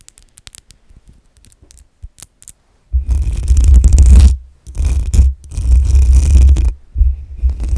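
Long acrylic nails scratch and rub the hollow metal mesh grille of a black USB microphone. A few light, sparse taps and clicks open the clip, then dense, boomy low scratching and rubbing takes over in long bursts, broken by two brief pauses.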